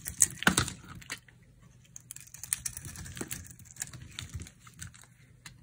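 A utility knife blade scrapes and carves a dry, solid white soap bar with a blue coated rim held in the palm, producing quick, bright, crisp scratching and crumbly flaking sounds. The strokes come in uneven bursts, loudest in the first second and then settling into softer, intermittent shaving.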